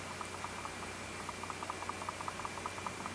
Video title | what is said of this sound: 佳能EOS R5开箱发现重大问题！机身晃动有异响！ | 然后你再打开这个相机之后，你再晃一下。会有响声，但不是很明显。